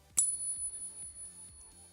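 A silver coin is pinged once on a Sound Money Metals ping tester, giving a sharp strike followed by a clear, high bell-like ring that sustains to the end of the clip over a low background hum. The clean, lasting ring marks the coin as real silver rather than a fake.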